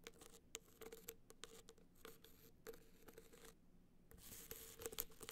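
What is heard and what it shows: Long black nails scratch and tap the top edge and surface of a gold rhinestone-studded hard-shell clutch standing upright. Quiet, dry scratching and rubbing is broken by many sharp, bright clicks, with a faint steady tone near 470 Hz underneath. A louder, hissier stretch of scratching near the end carries the strongest taps.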